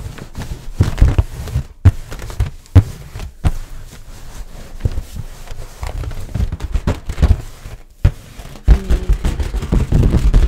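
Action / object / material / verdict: tap / inflated latex balloon / latex / none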